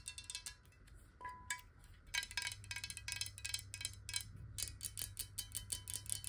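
Long nails tap quickly on the side of a clear, hollow glass water bottle, partly filled with water and held tilted. The result is a rapid series of bright, clicky glass ticks with very short rings, irregular in spacing over a faint steady low hum.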